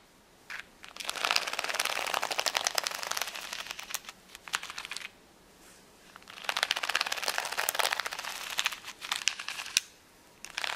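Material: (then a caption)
Acrylic plastic. Long nails tap and scratch the acrylic gems of a flat plastic rhinestone sticker sheet resting on a towel. Two long bursts of rapid, bright, dry clicking and scratching are heard, separated by a brief pause, with a few isolated taps at the start and end. Each tap is sharp and dies away almost instantly.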